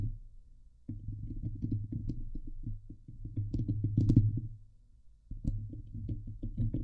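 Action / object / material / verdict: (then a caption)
scrape / steel wire-mesh microphone grille / steel mesh / none. Fingertips and nails from both hands scratch the hollow steel wire-mesh dome grille of a Blue Yeti microphone. The result is a dense, boomy rumble of rapid rasping strokes, mostly very low with a steady hum near 100 Hz and only faint bright ticks. The scratching comes in bursts, separated by brief quieter gaps near the start and around the middle.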